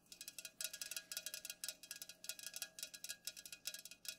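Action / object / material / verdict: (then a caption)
tap / aluminum drink can / aluminum / none. Long nails rapidly tap the sides of an unopened, full Pepsi aluminum can standing upright, making a fast, dense run of short, bright metallic clicks. Each tap is quiet and dies away almost instantly, with the energy concentrated high and nothing in the low end.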